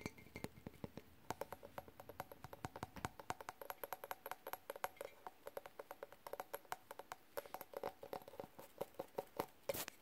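Fingertips and nails tap quickly and steadily on an empty glass clip-top jar, striking both its ridged glass lid and its body. Dozens of separate, crisp clicks sound with a faint glassy ring near 555 Hz. Each dies away almost instantly, over a quiet background.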